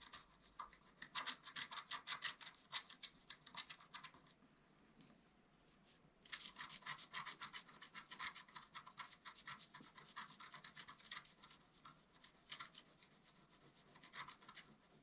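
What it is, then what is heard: Scratch art paper being scratched. A wooden stylus rubs and scratches the coating of a flat, black-coated scratch art paper card in quick, dense strokes that give a bright, high-pitched rasp with little low end. The scratching pauses for about two seconds in the middle, then resumes with the same rapid strokes to the end.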